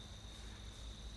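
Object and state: Nothing is struck.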